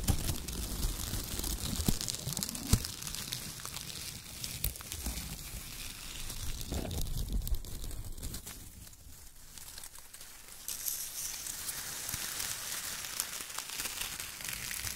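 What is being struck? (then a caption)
Shredded kraft paper strips. Hands pick up strips of shredded brown kraft paper, crumple and squeeze them, then press the pile with their fingertips. The sound is a steady, dense crinkling and crunching with soft low thumps and a bright rustle on top, which grows hissier and brighter near the end.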